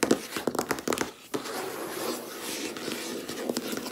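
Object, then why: Laminate desk top. Long red-painted nails tap and knock with both hands on a large, solid, flat white laminate desk top. A quick run of sharp, dry clicks with a hollow mid-range knock comes first, followed by a brief pause and then a softer, continuous scratchy patter of rapid taps. Each tap dies away almost at once.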